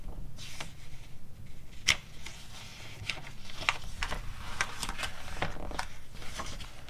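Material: Glossy paper.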